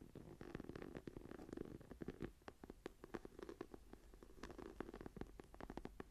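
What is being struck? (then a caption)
Embossed faux leather journal cover. Long nails scratch and tap the textured cover of a brown, tree-embossed faux leather journal that lies closed and flat. Rapid, dry taps mix with soft scratchy rasps in a low-mid, muffled tone. Each tap stops at once with no ring.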